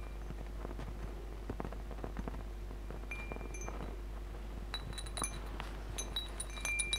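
A hanging wind chime of hollow metal tubes with glass crystal beads is tapped and brushed by fingertips and nails. Many soft, scattered clinks and bright, high tinkling rings sound over a steady low hum, growing busier toward the end.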